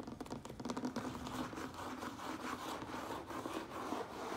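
Fingertips and nails tap quickly and lightly scratch the sides of a hollow, medium-sized closed cardboard Priority Mail box turned on its end. The result is a dense, steady patter of soft hollow knocks with a papery scratch and a low-mid body, each tap fading almost at once.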